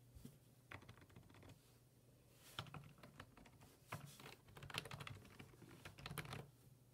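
Fingertips type on the hollow plastic keys of a black plastic full-size computer keyboard resting on a wooden desk. Quick, dry clicks and taps come in irregular bursts, with a few sharper, bright keystrokes standing out over a steady low hum.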